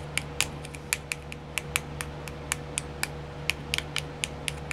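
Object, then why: Small round clear plastic compartment wheel. Long nails tap and scratch on a small, round, clear plastic nail art wheel with filled compartments. The result is a quick run of sharp, bright clicks that die away almost instantly, with faint scratchy texture between them. A steady low hum and a faint mid tone sit underneath throughout.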